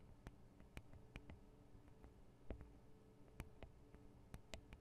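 Long acrylic nails tap and scratch on the metal and plastic microphone capsules of a Tascam DR-40 handheld recorder, with the fingers held close around the capsules. Sharp, brief clicks with bright edges are scattered over a steady low hum. A few of the taps land harder than the rest.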